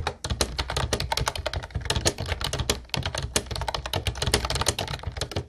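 Continuous fingertip typing on a light blue plastic Ubotie retro keyboard with round white keycaps produces a rapid stream of sharp, clicky keystrokes. Each strike has a bright clack over a low thump, with short quiet gaps between bursts.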